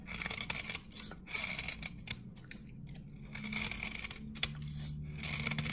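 A metal blade repeatedly shaves the face of a dry, solid amber glycerin soap bar from 1978 held in the hand, curling off dry, flaky shavings. The scrapes come as crisp, bright rasping strokes in quick bursts over a faint low hum.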